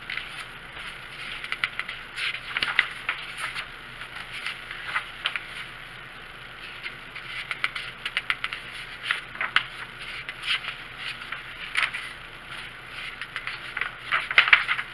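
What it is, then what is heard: Paper coloring book tapped. A large softcover paperback coloring book lies open and flat on a wooden table, its thin printed paper pages tapped with the bare fingertips and short nails of both hands, with pages turned between tapping bouts. Quick, dry, bright taps and papery crackles patter in uneven clusters over a faint hiss, with almost no low end, and each tap dies away almost instantly.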